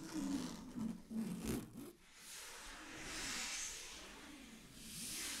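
A large, flat sheet of shiny blue satin fabric is scratched by long glittery fingernails. Quick, uneven scratching strokes in the first two seconds give way to softer, slower rubbing with a hissy, bright texture.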